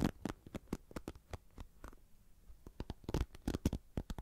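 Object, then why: Plastic paddle hairbrush with bristle pad. A hand-sized red plastic paddle hairbrush with a cushioned bristle pad is held in one hand near binaural mics while the fingertips and nails of the other hand tap and scratch its bristles and plastic back. About twenty quick, dry taps and scratches come in an uneven rhythm, each a soft low thump with a brief crackle of texture and almost no ring. The taps ease off into a quieter stretch in the middle before picking up again, louder and faster, toward the end.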